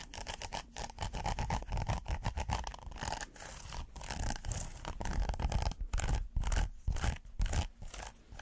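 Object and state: Silicone pot holder.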